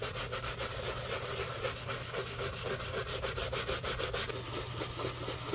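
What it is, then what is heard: Leather shoe being scrubbed. A wooden-handled bristle brush scrubs the upper of a black leather shoe covered in soap foam. The wet rubbing comes as a steady, fast back-and-forth swish with bright bristly hiss and a low hum underneath, continuing throughout without pause.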